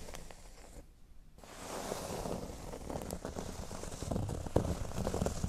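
Fingernails scratch the surface of a flat, thin, solid cork board lying on a table, making a soft, uneven rustling and scraping texture with low thumps and some bright grit. It dips nearly silent for a moment near the start, then grows steadily denser and louder, with a few sharper scratch accents toward the end.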